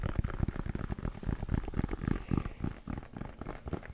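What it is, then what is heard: Leather American football. Fingertips tap and scratch a hollow, inflated, brown pebbled-leather American football held close to the microphone. Quick, dull, low thumps run together in a dense, continuous patter, with a soft scratchy texture between them and almost no high-end sound.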